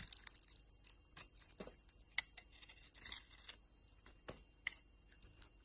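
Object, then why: Solid bar of soap cut with a metal blade. A metal utility knife blade cuts chunks off a solid purple and yellow two-colour bar of soap held in the hand. It makes quiet, irregular, crisp scraping and crackling cuts that are mostly bright and high-pitched, with short sharp clicks and little low end.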